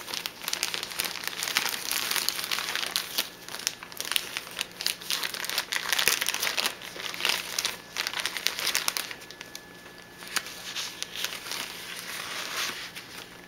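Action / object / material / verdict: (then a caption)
scrape / plastic zip-top bag holding paper coffee filters / plastic / none. A thin, flexible clear plastic zip-top bag holding a stack of white paper #2 coffee filters is held and worked with the fingertips, crinkling and rubbing the plastic while the bag is opened. The result is a steady, bright crackling rustle with dense, quick crinkles and almost no low end. It eases to a softer rubbing near the end.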